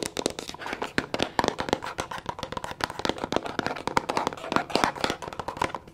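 Long nails tap fast and hard on a tall, rectangular, mint green plastic cosmetic bottle that sounds hollow. The result is a dense, steady flurry of sharp, dry, mid-pitched clicks that stop almost instantly with no ringing.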